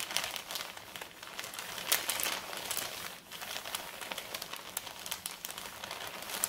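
Fingertips and long red nails rub and scratch across the plain back side of a large, flat, empty brown kraft paper mailer bag. The result is a steady stream of dry, bright crinkling and scratching with many small crackly peaks and almost no low end.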